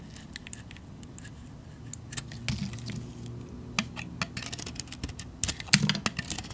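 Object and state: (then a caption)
Bar of soap being cut. A solid cream painted bar of soap, held in the hand, is scraped and sliced with a metal blade as chunks break off. Quick, crisp, bright scraping clicks and snaps sound over a low steady hum, growing denser and louder toward the end.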